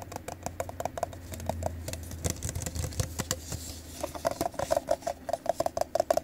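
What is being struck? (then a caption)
Plastic party cup. A hollow, apparently empty teal plastic party cup is held in the hands and tapped and scratched with the fingertips and nails on its glossy side. Quick, dry taps with a faint hollow tone ride over a soft low hum, with brief scratchy swishes in the middle. Toward the end the tapping turns faster and more pronounced.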